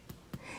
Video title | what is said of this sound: Homemade Sandwich Bread | it sounds hollow from the inside